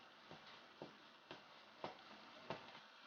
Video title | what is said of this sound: How to make Vetkoek and Curry Mince Part 1 of 2 | It sounds hollow. That means it's puffing up on the inside.